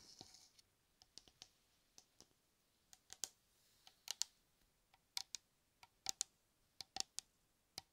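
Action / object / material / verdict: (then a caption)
tap / metal aerosol can / metal / none. Fingertips tap on a metal shaving cream aerosol can, producing about 18 sharp, bright clicks at an irregular pace. Each click is very short and dry, with no ring. A faint scratchy hiss is heard at the start.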